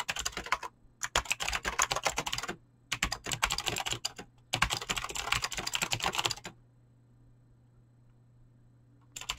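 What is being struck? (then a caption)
Mechanical keyboard with clicky switches and PBT plastic keycaps. A mechanical keyboard with clicky green switches and PBT plastic keycaps is fast-typed with fingertips, producing bright, sharp clacking in four dense bursts separated by short pauses. A steady low hum sits underneath, then a long quiet stretch ends with a final brief burst of typing.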